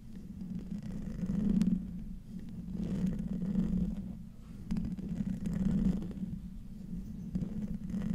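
Fingernails of both hands scratch a hollow metal mesh microphone grille, producing a low, muffled rumbling scrape centered around 200 Hz with almost no bright content. The scratching swells and fades in uneven waves across the clip.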